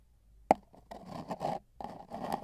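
A long, hollow, empty brown cardboard mailing tube with tape bands lies on a bedsheet with a microphone inside, while two metal tweezers held in both hands tap and scratch along its outer surface. A single sharp, hollow tap rings briefly inside the tube, followed by bursts of dry scratching and rubbing that carry a resonant midrange tone.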